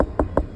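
A ripe pumpkin is tapped in a quick, even series, each tap giving a short, hollow, dull thump centered in the low-mids with almost no ring. The hollow sound shows the pumpkin is ripe and ready to pick.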